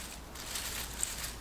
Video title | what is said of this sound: Growing Hydroponic Lettuce Indoors: Unlock the secret to year-round lettuce! | it's called sweet crisp because you can hear how crispy it is